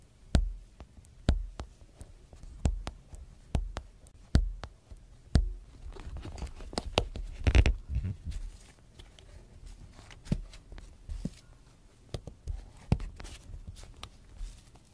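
A closed clear PVC zip binder (planner) cover with red trim lies flat while a fingertip and then a knuckle tap, press and rub its transparent plastic surface, the other hand steadying the edge. Sharp, dull taps with a low thump stand out in the first half. Softer crinkly rubbing and scratching follow, with a few scattered taps near the end.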